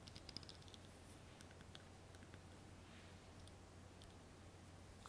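A small ribbed glass candle jar filled with wax, with its knobbed glass lid on, is held in both hands and tapped with long painted nails. A quick run of light, high, bright clicks comes at the start, then sparser, fainter taps follow over a steady low hum. The clicks are short and dry, with almost no ring.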